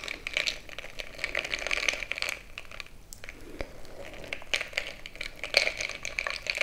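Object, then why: Glass jar mug with crushed ice stirred by a stick. A bamboo stick is stirred into crushed ice filling a frosted glass mason-jar mug. The result is a steady run of bright crunching and crackling with quick, short clicks, with a slight dip in loudness near the middle.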